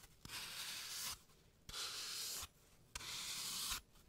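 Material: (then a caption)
Floral foam. A blade tool scrapes a hand-sized, solid green floral foam block carved into a rounded brain shape and held in a latex-gloved hand. Three separate strokes of bright, airy rasping are heard, each lasting under a second, with brief quiet gaps between them.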